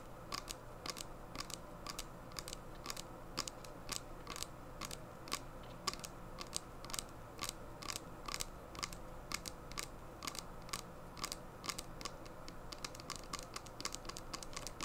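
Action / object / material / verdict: tap / small plastic sanitizer bottle / plastic / none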